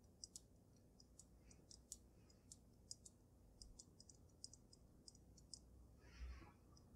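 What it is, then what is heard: Glass snow globe tapped with nails. Long nails tap the sides of the glass dome of a water-filled glass snow globe on a dragon base, making quick, bright, dry clicks that stop at once. The taps come in an irregular series over a quiet low rumble, with a brief softer rushing swell just after six seconds.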